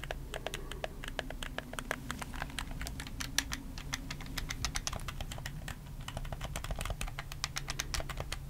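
Fingertips rapidly click the buttons and thumbstick of a black, hollow plastic PS4 controller held close up. The result is a dense, steady stream of short, sharp, bright plastic clicks that decay almost instantly, over a constant low background rumble.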